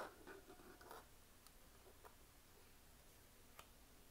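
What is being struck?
Small plastic makeup compact.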